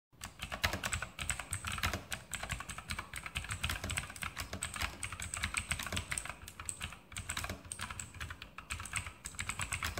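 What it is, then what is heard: Mechanical keyboard with plastic keycaps. A full-size RGB Sharpshooter X2000 mechanical keyboard with Outemu blue switches, plastic keycaps on a metal top plate and hollow switch housings, is typed on rapidly with the fingertips. A steady, dense stream of crisp, bright clicks and clacks runs throughout, with a low hollow thud under each key press and very short decays.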